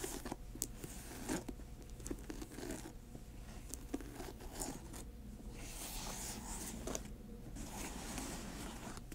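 Long nails tap and scratch a grey patent leather high-top sneaker, working over the glossy upper and the area near the laces. The result is a quiet run of sharp clicks mixed with dry, bright scraping against a low steady hum. The taps blur into the scratching, so they can't be counted.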